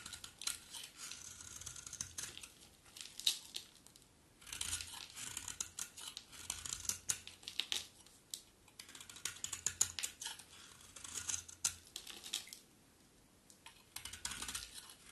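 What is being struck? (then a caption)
Bar of soap scraped with a knife blade. A utility knife blade carves and scrapes a solid, dry, terracotta-pink bar of soap into flakes, producing quiet, crisp, bright scratching and crackling in dense bursts. The bursts are broken by brief pauses in the strokes.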